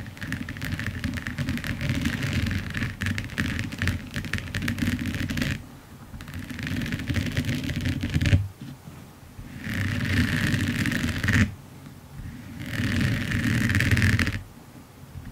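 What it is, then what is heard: Resin diamond painting on canvas. A large finished diamond painting with resin drills on canvas lies flat while long nails scratch and tap across its textured surface. Dense, rapid scratching and clicking comes in several bursts, with low rumbling body and a bright band of scraping, separated by quieter pauses.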